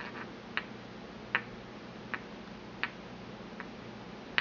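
A porcelain pestle taps and scrapes around the inside of a small, empty white porcelain mortar held in hand. Six short, bright clicks ring near 2 kHz at uneven intervals over a faint steady hiss, each dying away almost instantly.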